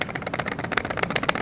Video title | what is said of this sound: BEST STARTER LENS - $136 | if you shake it you can actually hear that that plastic shaking around